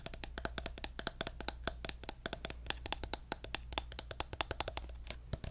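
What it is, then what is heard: Plastic lotion bottle. Fingernails tap the gold cap of a pink plastic lotion bottle held upright, making a quick, irregular run of bright, dry clicks that stop almost instantly. A faint, steady low hum sits underneath the tapping.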